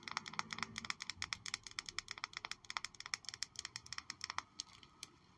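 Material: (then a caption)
Glass. A glass Miss Dior Blooming Bouquet perfume bottle, still holding a little perfume and with a houndstooth-like texture on its base, is tapped in a fast, uneven series of light, bright clicks. The clicks are short and dry, with almost no ring and their energy mostly in the high range.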